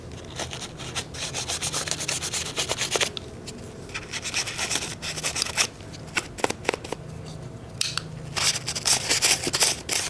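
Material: Stainless steel.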